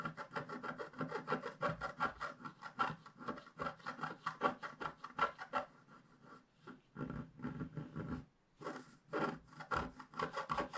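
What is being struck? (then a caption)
Scratch-art paper sheet scratched with a wooden stylus. A wooden stylus scratches the bottom leaves of a design on a flat, black-coated scratch-art page held by a hand. Quick, dry, papery scratching strokes come in rapid bursts with a bright, rasping edge. They thin out to faint scrapes for a moment near the middle, then resume in fast runs.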